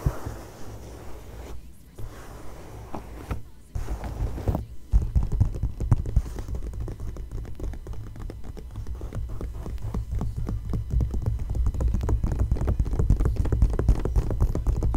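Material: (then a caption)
Glossy paper. Long nails tap and scratch across the pages of an open glossy magazine lying flat on a fashion photo spread. A quieter stretch of soft scratching gives way to dense, rapid, uneven taps with dull, low-heavy thuds that stop short, growing steadily busier toward the end.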